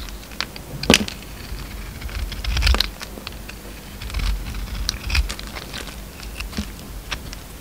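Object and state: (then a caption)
Bar of soap being shaved. An oval, solid pink soap bar with a purple glitter coating is held in the hand and shaved with a utility knife. Irregular, crackly scraping and crinkling come in uneven bursts, with sharp, bright ticks over a low rumble.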